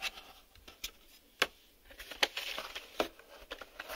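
A black hard-plastic VHS video cassette, a hollow shell with reels inside, is held in both hands and tapped with fingertips and short nails on its front face and label window. Irregular, sharp, bright clicks and taps with almost no ring stand out over a faint crackling background.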